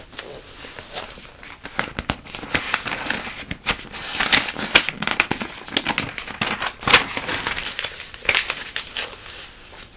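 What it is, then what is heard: Glossy paper catalog pages crinkled and scratched. Long nails and a palm rub and scratch the thin pages of a glossy paper catalog, crinkling them as they are turned. Bright, dense crinkling and crackling fill the clip, with sharp scratchy bursts and quick rustling sweeps and almost no low end.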